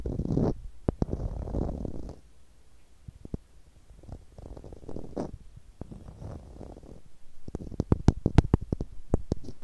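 A small, hollow blue plastic screw cap is tapped and scratched with long nails. Soft, low rubbing scratches alternate with sharp, irregular taps, and the tapping gets quicker and denser toward the end.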